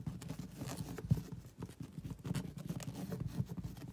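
Long acrylic nails scratch a soft, padded grey woven fabric sofa cushion and side panel. The result is a dense, muffled, low scratching rustle with a couple of slightly louder soft thumps and almost no bright content.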